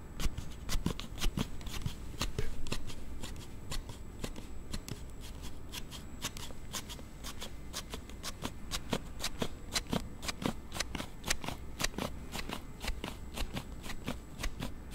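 A Note7 smartphone in a hard plastic sliding case is held in both hands while fingers rapidly slide the case back and forth close to the mic. This produces a steady, slightly uneven run of sharp, bright plastic clicks and snaps, roughly two per second, over a low, constant hum.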